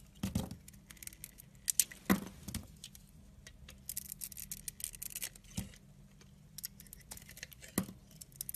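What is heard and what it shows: A utility blade scrapes and shaves the surface of a solid green oval soap bar held in the hand. Bursts of crisp, bright scratching and short shaving strokes come in irregular clusters, with a faint steady low hum underneath. The strokes are dry and stop instantly, with no ringing.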